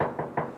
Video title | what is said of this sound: Top Gear Jeremy clarkson Mocking and Arguing about Cars # 2 - Funny compilation Reaction | It's hollow. Yes. There's nothing in it at all.